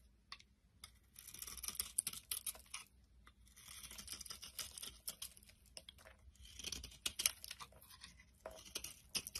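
A utility knife blade scrapes and shaves crumbly flakes off the top of a solid oval bar of soap, cream-white inside with a dark green rim, held in the palm. The result is a bright, dry, crackling scrape in several longer bursts, with many short, sharp ticks and crumbles between them.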